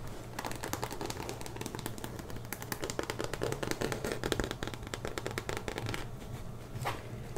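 Long dark-painted nails scratch and tap across the smooth front panel of a large, hollow, soft-sided burgundy faux leather Kenneth Cole Reaction tote with tan straps and gold lettering, held upright. The result is a dense stream of quick, dry, crackly taps and scrapes with short bright edges, over a steady low hum.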